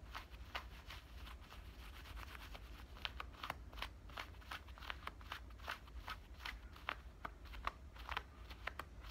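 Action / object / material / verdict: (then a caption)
scrape / denim shorts pocket scratched with fingernails / denim / none. Fingernails scratch along the front pocket opening and stitch lining of worn black denim cutoff shorts. The result is a steady run of quick, dry, rasping strokes with bright, crisp tops, heard over a constant low hum.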